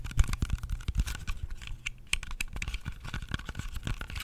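Fingernails tap and scratch the skin of a whole, solid red-yellow-green apple with fast nail taps. A rapid run of short, dry clicks with bright ticks on top sits over soft low thuds, each tap dying away almost at once, with faint scratching between them.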